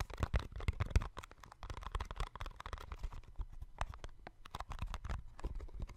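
A small, hollow, yellow-and-white printed cardboard box, held in both hands, is tapped and scratched with fingertips and nails. It makes a rapid, uneven series of dull, low thumps mixed with dry scratching and crinkling. A heavier burst of taps in the first second gives way to lighter, scattered tapping.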